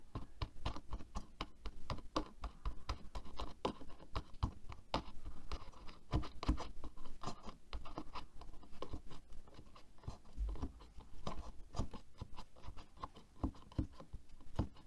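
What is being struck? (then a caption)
Plastic hairbrush with bristles. Fingertips and long nails tap and scratch along the head and bristles of a black plastic hairbrush resting on a table. The result is a quiet, steady stream of rapid, dry clicks and scratchy rasps, each tap dying away almost instantly.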